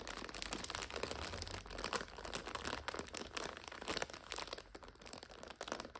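Long nails tap, scratch and crinkle the clear plastic overwrap on a full purple 5-pack of instant noodles. The result is a steady, dense stream of bright, crackly plastic crinkling and scratching with quick sharp taps throughout.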